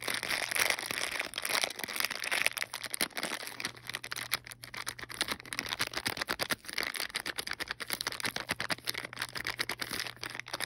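A small sealed clear plastic bag holding green and teal plastic wall clips and a cardboard backing card is held in hand and rubbed and squeezed with fingertips and long painted nails. Dense, bright crinkling and crackling continues throughout over a faint steady low hum.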